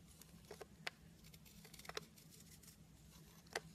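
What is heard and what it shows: A metal blade carves layered flakes off a solid blue bunny-shaped soap held in the hand. Soft, crisp scraping is broken by a few brief, sharp snaps with bright edges, over a faint steady low hum.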